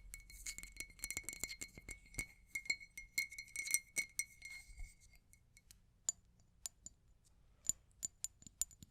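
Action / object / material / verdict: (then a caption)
tap / glass object / glass / none. A glass object is tapped repeatedly, giving bright, high-pitched clinks with a faint ringing tone around 2 kHz that fades quickly. The taps come fast and dense for the first five seconds, then thin out into sparse, sharper clicks.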